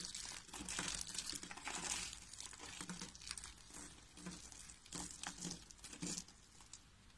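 A bare hand squeezes and crushes cream-coloured rolled curls of dry soap into flat flakes on a white table, beside a rolled soap rosette. The result is a dense run of dry, bright crinkling and crunching bursts that quieten toward the end.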